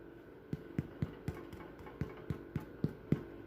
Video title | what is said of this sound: Chica's Kitchen - Mini Sandwich Slider Rolls | hear that thumping that means it's done that's how you can tell if your finger sinks in or you don't hear that thump it's not